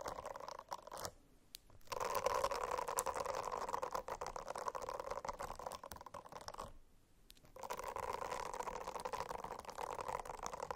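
Fingernails scratch a silicone-covered notebook in dense, rapid strokes. The scratching makes a soft, rasping midrange texture with brief crackles, and it stops twice in short quiet pauses before resuming.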